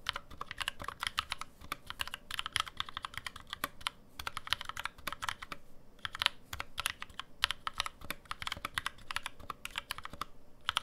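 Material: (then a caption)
Aluminum, plastic. Steady fingertip typing with both hands on a black NovelKeys NK65, a 65% mechanical keyboard with an aluminum case, plastic keycaps and lubed NovelKeys Cream switches, sitting on a deskmat. The keystrokes are short, dry, bright clacks that stop almost instantly. They come in rapid runs, with brief pauses near 4 and 6 seconds.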